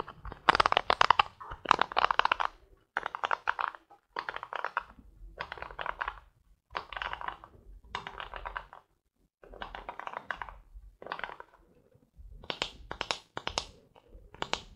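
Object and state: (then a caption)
Plastic hairbrush bristles being scratched. Fingertips scratch and strum across the stiff pin bristles of a polka-dot plastic paddle hairbrush. Short bursts of dry, crackly plucking around a midrange tone with bright upper edges repeat, separated by brief pauses. The final few strums are sharper and brighter.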